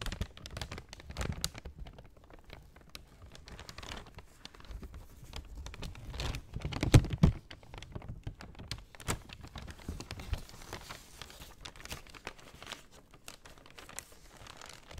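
A brown kraft paper shopping bag is first folded and then held open while fingernails scratch and crinkle it. Soft, dense crinkling and scratching taps continue throughout, with a louder burst of crackles around the middle.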